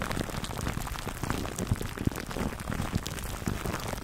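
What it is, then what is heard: Cling film over a foam mic cover, scratched. Fingertips scratch clear plastic cling film wrapped over a black foam microphone windscreen, making a steady, dense crinkling rustle with a heavy, muffled low end. Short, sharper pops stand out every so often through the continuous scratching.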